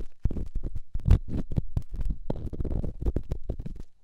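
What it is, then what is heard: Rough stone rubbed in a silicone ear microphone. An elongated, solid rough rock held in fingertips is scratched and rubbed inside a silicone microphone ear. The result is a run of close, deep, muffled scraping and thudding rubs, almost entirely low in pitch with no bright edge.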